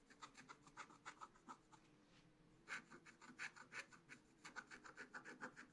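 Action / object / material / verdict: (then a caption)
scrape / wax-coated scratch-art paper scratched with a wooden stylus / coated paper / none. A wooden stylus scratches short strokes into black-coated scratch-art card in a spiral book while the other hand holds the page. Quick, dry, bright rasping strokes come in a brisk, uneven rhythm, pause briefly, then resume with louder scratches.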